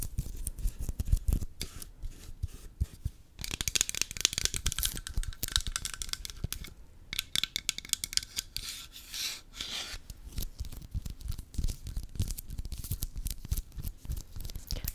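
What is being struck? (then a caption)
Plastic lint roller with adhesive paper roll. A lint roller with a plastic handle and a roll of paper adhesive sheets is scratched and tapped along the roll with long fingernails. Dense, rapid scratching and tapping produces bright, papery rasps over soft low thumps. Louder bursts of scratching rise around 3.5–7 seconds and 7.5–10 seconds.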